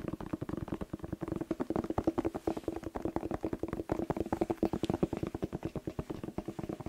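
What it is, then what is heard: Bell pepper, hollow. A whole, hollow red bell pepper with a green stem is held in both hands and tapped rapidly with fingertips and short nails, about 48 quick taps in under seven seconds. Each tap gives a short, hollow knock with a muted resonant tone around 320 Hz that dies away almost instantly. The result is a steady, dense patter with little high-end brightness.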